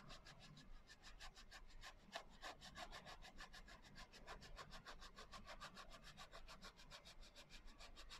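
Fingers and nails rub and scratch the coarse glitter cover of a small, closed hardcover journal. The result is a fast, rhythmic series of bright, gritty scrapes over a steady low hum.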